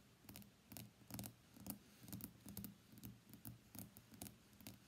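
Long fingernails tap rapidly on the solid glass back of a white iPhone X lying face down on a desk mat. The result is a steady run of quick, dry clicks with a low thump beneath each and bright ticks on top, each dying away almost instantly.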